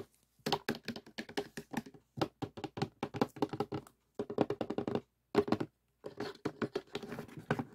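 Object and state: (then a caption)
Cardboard jigsaw puzzle box. Fingertips tap rapidly on the lid of a closed cardboard jigsaw puzzle box with the pieces inside, and the box is briefly moved. The result is quick bursts of dull, hollow, muffled taps that die away almost instantly, separated by short pauses.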